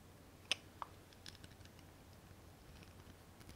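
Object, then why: Ribbed glass candle jar with glass lid. A small ribbed glass candle jar filled with wax, its knobbed glass lid on, is held in both hands and tapped with long painted nails. Four short, bright clicks sound, the first two sharpest, each dying away almost instantly with a thin ring near 3 kHz, over a quiet low hum.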